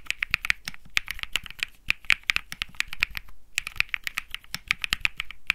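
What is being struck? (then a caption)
Mechanical keyboard with plastic keycaps. A 65% mechanical keyboard with plastic keycaps on a metal-looking case, resting on felt, is typed on continuously with fingertips. The result is a fast, steady stream of sharp, bright clicks and clacks centred around 2.3 kHz, with a short pause near the middle.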